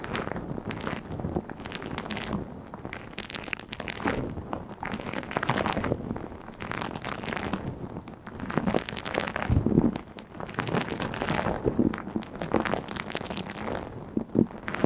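A small round purple knitted plastic mesh scouring pad is scratched and squeezed with long blue acrylic nails close to the microphone. Dense, continuous crackling with sharp, quick-decaying onsets comes in uneven bursts, mostly mid-range with little high content.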